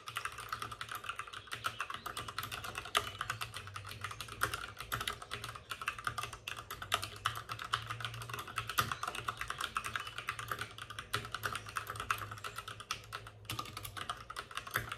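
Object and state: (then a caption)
Plastic mechanical keyboard. Both hands type rapidly with fingertips on the plastic keycaps of a white plastic backlit RGB mechanical computer keyboard, which sits on a desk with a padded wrist rest. A dense, steady stream of short, crisp clicks and clacks continues throughout, with a bright mid-range tone and a faint low hum underneath.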